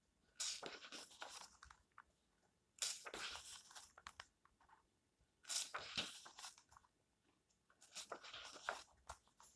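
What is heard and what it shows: An open paper book is held at its edge while fingertips flick and turn its pages in four separate bursts, each a quick flurry of crisp, bright rustles and crinkles. The sound is mostly high and papery, with almost no low end and very short, dry decays between bursts.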